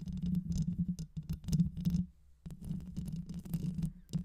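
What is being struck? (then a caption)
Metal mesh microphone grille. Long white nails scratch the rounded metal mesh grille of a black microphone with a hollow head. The result is a dense, low, rumbling scrape with crackly bright streaks. It pauses briefly near the middle before the scratching resumes.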